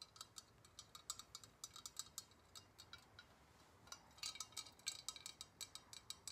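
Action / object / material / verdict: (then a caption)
tap / liquid-filled glass Galileo thermometer / glass / none. A long sealed glass Galileo thermometer, filled with liquid and coloured glass bulbs, is held horizontally in both hands and tapped with long red-painted nails. A quick, irregular series of bright, clicky glass taps sounds with very short ring, faint clinks possibly coming from the floating bulbs inside. The taps bunch into a denser, louder run near the end.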